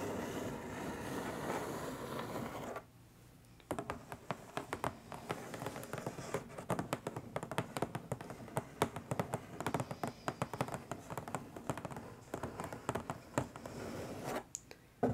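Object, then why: Cardboard box. Long nails tap quickly on the lid of a long, flat, hollow printed cardboard box, making a rapid stream of dry, hollow clicks with a slightly bright edge. A steady soft rustle comes first, then a brief quiet pause before the fast tapping runs on. The clip ends with a short lull and one last sharper tap.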